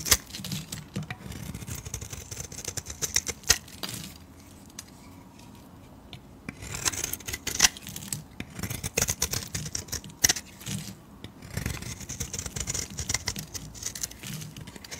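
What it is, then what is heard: Bar of soap being shaved. A metal blade shaves curls off the edge of a solid pale green-white bar of soap, making rapid, crisp scraping and crackling sounds that are bright and high. The shaving comes in dense bursts, with a quieter pause near the middle before the cuts resume.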